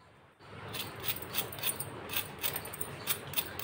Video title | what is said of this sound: 5 मिनट में इतना आसान Tasty नाश्ता की सब स्नैक्स भूल कर बारिश में रोज यही खाना पसंद करेंगे | आवाज से पता चल रहा है नाश्ता कितना क्रिस्पी बना है